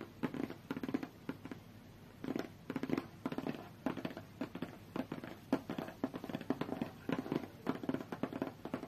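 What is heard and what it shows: Long fingernails of both hands tap fast on a closed, hollow, medium-sized white cardboard tablet box. The result is bursts of quick, dry, crackly clicks with a low hollow tone around 266 Hz that die away almost at once, separated by short quiet pauses.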